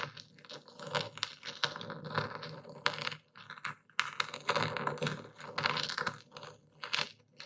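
A dark stone pestle pounds and grinds coarse white Epsom salt in a wooden bowl held steady by a hand. Rapid, bright crunching crackles and gritty scraping come in uneven bursts with short pauses. The crystals are crushed with sharp, quickly fading impacts.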